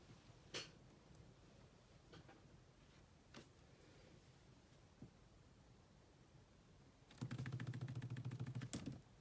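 Fast typing with long manicured nails and fingertips on the dark plastic chiclet keys of a grey laptop with a hollow body. A few sparse, sharp clicks over a quiet low hum give way to a dense, rapid burst of clacking taps near the end.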